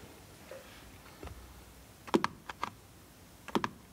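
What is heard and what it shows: Fingertips tap and scratch the top of a small, closed blue cardboard box of bar soap lying on a wooden board. After faint, soft scratching, crisp, dry taps arrive in two quick clusters, each click short and hollow with no ringing.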